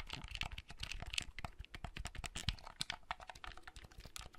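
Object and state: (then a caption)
Plastic handheld console buttons clicking. Fingertips click the buttons of a small, hollow, red plastic clamshell handheld console and open or close its hinged folding lid. The result is a quiet, rapid run of dry, short plastic clicks and taps, bright on top with a soft low knock beneath, each dying away almost instantly.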